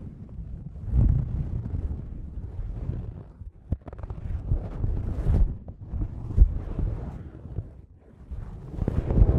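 Thin white paper tissue, loosely crumpled, is draped over two Rode NT5 microphone grilles and pulled across them by hand. The rustling and crinkling sit right on the mics, so the sound is a dense, boomy low rumble with soft, swelling surges and a few sharper crackles, with only faint brightness above.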